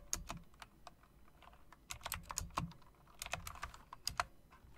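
Long dark nails tap and type on the round keycaps of a backlit plastic and metal typewriter-style mechanical keyboard. Quick, bright clicks and clacks come in uneven bursts, each stopping almost instantly over a faint low hum.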